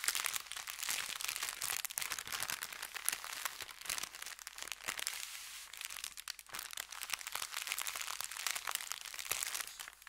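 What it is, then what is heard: Paper bag being crinkled. Fingertips press and rub an empty, folded, thin kraft paper bakery bag lying flat. The result is a dense, continuous stream of bright, high crinkling and crackling for about ten seconds, with almost no low end.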